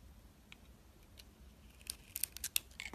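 A utility knife shaves the green striped coating off a solid oval bar of soap held in the hand, exposing the white soap underneath. Faint, quiet scraping gives way to a quick series of crisp, bright cutting and scraping scratches in the last second, each one dry and sharp with no ring.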